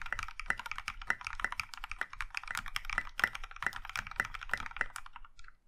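Both hands type with their fingertips on a compact Iron 165 mechanical keyboard in a maroon metal case with dark grey and pink plastic keycaps. Rapid, steady keystrokes sound as crisp clacks with a low thock beneath each press, each one dying away almost at once. The typing slows and fades near the end.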